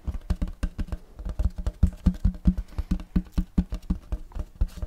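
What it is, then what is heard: Wooden serving tray tapped with fingertips. Fast fingertip tapping on the back and front of a large, flat, round wooden serving tray with a checkerboard block pattern, solid and empty. A quick, uneven run of short, dull, low knocks, each dying almost at once, with little brightness and a dry, hollow-free thud.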